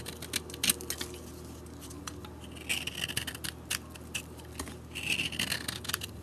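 A metal blade scrapes the coating off a solid yellow-coated bar of soap held in the hand, shaving the soap beneath. The result is a series of dry, bright scraping and crackling strokes, with louder bursts near the start and in the middle and latter parts, over a faint low hum.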